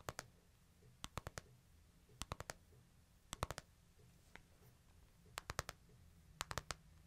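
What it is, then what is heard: Smartphone glass screen tapped. Fingertips and nails tap and click on the glass screen and back of a small, flat, solid white-and-silver smartphone held in the hands. About 23 sharp, dry clicks arrive in quick clusters, mostly groups of four spaced about a second apart, each dying away almost instantly. A faint low hum runs steadily underneath.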